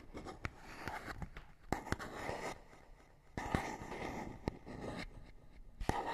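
A fingernail scratches across a small, hollow printed paperboard box with a barcode. Dry, raspy scraping comes in uneven bursts, punctuated by sharp clicks and given a faint hollow, boxy body. The sound is quiet overall, with short dry ticks that stop almost at once.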